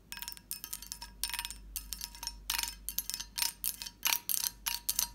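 A fingertip and long nails tap and scratch the bumps of a medium, hollow, empty, lidded cut-glass dish with a textured surface. The result is a series of quick, bright, crisp clicking and scraping bursts with very little low end. Each burst has a short glassy ring that dies away almost at once.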